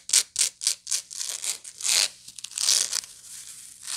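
Long nails scratch the surface and rim of a hollow woven straw/raffia bag with a coarse weave, giving quick, bright, dry rasping strokes. Four sharp, separate scrapes come first, followed by softer, busier scratching and two longer, louder sweeps as the bag is turned and handled between strokes.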